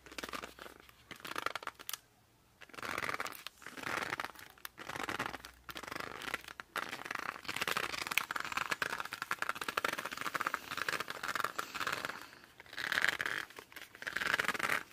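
Hands grip and rub the glossy cover of a laminated cardboard board book, held edge-up and then flat. The result is a steady run of bright, dry scratching and rubbing with short pauses, plus a few squeaky, pitched squeals near the end.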